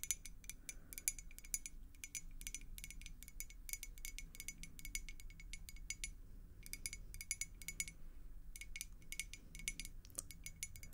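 Long acrylic nails tap rapidly on a clear glass beer mug partly filled with water. The taps are quick, bright glassy clicks with a short high ring that fades almost at once, coming in clustered bursts with brief pauses. A soft low rumble sits underneath throughout.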